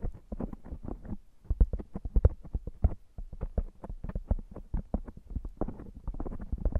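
Both hands with fingertips and short nails rub and massage a round, hollow, soft black foam windscreen fitted over a microphone. The result is a rapid, uneven stream of deep, muffled thumps and soft scratchy rustles, heavy in low rumble with almost no bright content.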